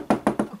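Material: Plastic.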